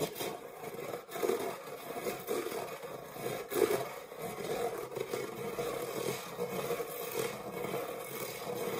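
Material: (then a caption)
Metal. Fingernails scratch the textured grid base of an empty dark metal springform cake pan. The result is a steady, raspy scraping with a faint metallic ring around 400–500 Hz and a thin bright hiss. A few slightly louder strokes stand out along the way.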